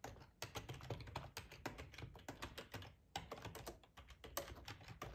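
Fingertips type steadily on the keys of a black, hollow-bodied plastic split ergonomic computer keyboard. The result is a quick, uneven run of short, dry tapping clicks over a soft low thump, each click dying away almost at once.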